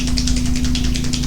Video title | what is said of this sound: Layering Resin Techniques for beginners - Let's Resin | you just shake it until you hear that ball rolling